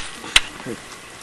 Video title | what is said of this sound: The Scoop on Olduvai | it sounds like wood because it's not fossilized